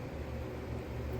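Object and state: Nothing is struck.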